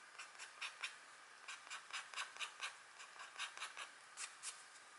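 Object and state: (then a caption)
Scratch art card being scratched. A pointed green stylus scratches repeated short strokes into the coating of a flat, thin, black wax-coated scratch art card. Thirteen quick, dry, bright scraping strokes come in uneven bursts over a faint steady hiss. Each stroke is brief, with a scratchy peak around 2.4 kHz and almost nothing in the low end.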